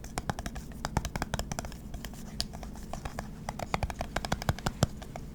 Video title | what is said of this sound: Satisfying Lid Sounds ASMR Tingle, Relax, Sleep, Study, Enjoy | That's a green lid on top of a glass jar. That was interesting.